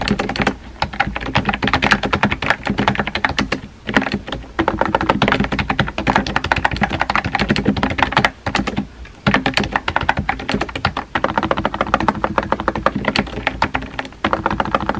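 Fingertips type steadily on a compact pink plastic keyboard with round white keycaps, producing a dense stream of quick, clacky taps with very short decay. The typing pauses briefly around the 4-second and 9-second marks before continuing at a steady pace to the end.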